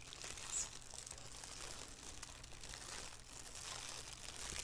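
Fingertips and long nails scratch and crinkle the thin black plastic inside the white elastic rim of an empty shower cap resting on a wooden table. The result is a quiet, continuous, bright crinkling with soft scratchy rustles over a faint low hum, rising briefly just after the start.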